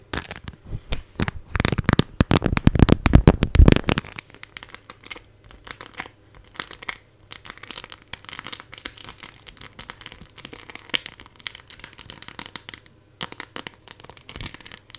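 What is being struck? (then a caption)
Clear plastic phone case with raised decorations. A phone in a clear plastic case covered with 3D decorations is held in front of a fluffy microphone and turned in the hands while long nails scratch and tap over the embellished surface. For the first four seconds, dense, loud, crinkly scratching fills the sound. It then gives way to quieter, scattered clicks and light scrapes over a low hum.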